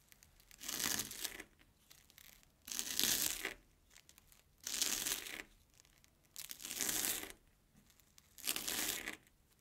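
A steel kitchen knife cuts repeatedly through a single airy Banana Kick corn puff stick resting on an orange plastic board, with crumbs piling up. Five separate crunchy, bright tearing bursts, each lasting under a second, are heard at roughly two-second intervals with quiet gaps between them.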